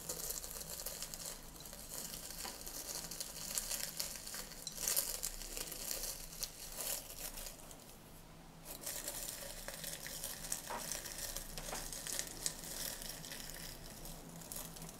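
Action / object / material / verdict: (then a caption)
scrape / dried herb leaves in a glass jar / dried leaves / none. Fingers crush dried green herb leaves inside a small clear glass jar held in one hand, giving a steady, bright crumpling and crackling. The dense crinkles dip briefly near the middle before resuming.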